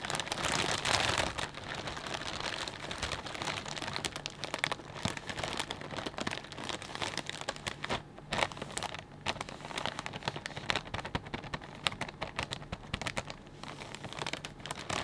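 Fingertips rub and press a clear plastic bag full of potato chips, producing a dense, continuous crinkling with many sharp, bright crackles. The rustle holds steady throughout, with a louder burst near the start and scattered sharper snaps.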